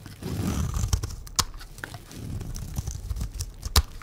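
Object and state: Dry bar soap being shaved.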